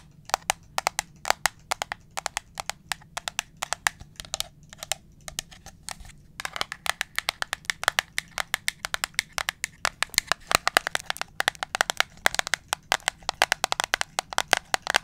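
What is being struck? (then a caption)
Plastic pump bottle. Long acrylic nails tap and scratch a medium, hollow white-and-blue plastic Germ-X hand sanitizer pump bottle close up. The result is a dense stream of sharp, bright clicking taps with almost no ring, over a faint low hum, quieter and sparser at first and then busier and faster.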